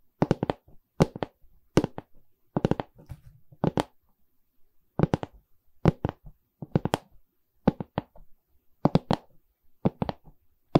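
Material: Wood, canvas.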